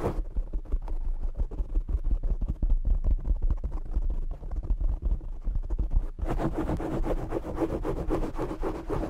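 Short nails scratch and fingertips tap a black foam windscreen on a desktop microphone, producing dense, muffled, boomy rubbing and thumping dominated by deep low rumble. About six seconds in, the scratching turns brighter and hissier, with more crackle in the upper range, and continues steadily to the end.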